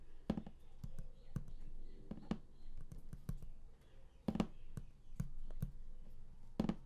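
Fingertips tap quickly on the printed lid of a large, flat cardboard game collector's box, which is closed and hollow. The irregular run of soft, dry, hollow taps is low-pitched, and each tap stops almost at once with no ring.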